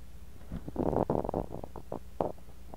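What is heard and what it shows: A bamboo ear pick digs and scrapes through kinetic sand packed into a clear glass cup, working steadily near a mini mic buried in the sand. The result is a series of soft, muffled, crunchy scraping bursts, dull and mid-low in tone with no bright edge, over a quiet low hum.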